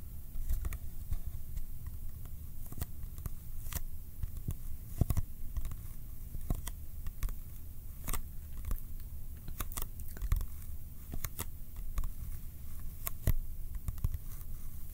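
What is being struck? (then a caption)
Small cardboard box. A small, hollow Kodak ColorPlus cardboard film box is held in both hands and tapped with the fingertips. Quick, irregular dry taps and soft crinkly clicks sound over a low, steady rumble, each tap dying away almost instantly.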